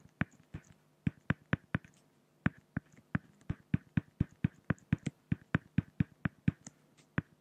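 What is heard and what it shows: A pen hatches the head feathers of a drawing on a flat, solid acrylic (plexiglass) sheet, making a quick, uneven run of about 28 sharp taps. Each tap is a dry click with a low, hollow thump and a bright tick on top, dying away almost at once over a faint steady hum.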